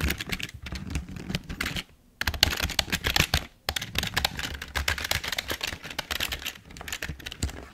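Fingertips type on a full-size, hollow black plastic Logitech keyboard, producing a fast stream of bright clicking keystrokes with a low thud beneath. Two brief pauses, near two seconds and three and a half seconds, break up the typing.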